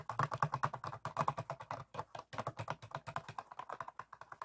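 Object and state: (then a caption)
Plastic PET water bottle. Fingertips and nails of both hands rapidly tap and scratch an empty, hollow, clear ribbed PET water bottle resting on a table. The result is a quick, steady stream of short, hollow plastic clicks with a low resonant body and little high-end sparkle. Each tap dies away almost instantly, with a brief pause near the middle.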